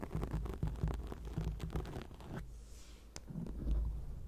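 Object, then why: Foam microphone windscreen. Long acrylic nails scratch a black foam microphone windscreen, making a dense, muffled, low rumbling scrape of quick strokes. The scratching quiets briefly in the middle, with one sharp tick, then picks up again with a deep rubbing thump.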